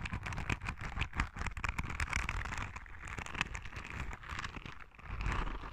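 Long red nails scratch along the spikes of a palm-sized, yellow, soft rubber spiky sensory ball. The result is a dense, crackly run of quick, dry ticks with a bright edge over a steady low rumble, staying fairly quiet throughout.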